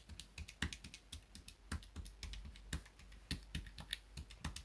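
A small grey plastic pocket calculator is held on a desk mat while fingertips rapidly tap and press its plastic keys. The result is a quick, uneven series of short, dry clicks with a soft low thump under bright, crisp tops, each dying away almost at once.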